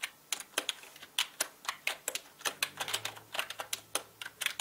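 Fast typing with fingertips on a full-size black mechanical gaming keyboard with plastic keycaps and a hollow body. It produces a quick, uneven run of sharp, bright clicks and clacks, with each keystroke cutting off almost immediately.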